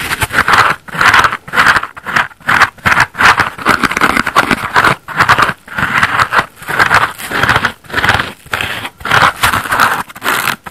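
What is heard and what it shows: Fingernails scratch a layered foam bath sponge of solid porous foam, first along its edge and then across its wavy blue foam side, while the other hand holds the sponge. The result is a steady run of dry, raspy scraping bursts separated by brief pauses. The sound centers in the midrange with a bright edge and almost no low end.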